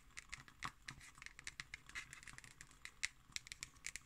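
Long green nails scratch and tap on the label and the top of the cover of a black cardboard hardcover notebook. The result is a quiet, rapid series of short, dry, bright clicks and scratchy strokes, with little low end and a tone centered around 2 kHz.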